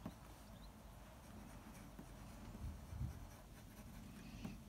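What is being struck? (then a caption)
Graphite pencil on a sheet of drawing paper. The graphite tip of a blue mechanical pencil, held in the fingers, scratches across a large flat sheet of white drawing paper on a desk while sketching a figure outline. The sound is a quiet, continuous, low-heavy scratching with a few slightly louder strokes near the middle and end.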